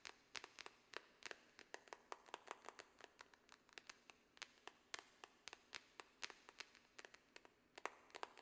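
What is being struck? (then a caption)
Small cardboard box. A small, hollow pink cardboard product box for a Glamnetic nail set is held upright in one hand and tapped with long press-on fingernails. About forty quick, dry, clicky taps land in an uneven, rapid rhythm, each bright and sharp with almost no ring and no low end.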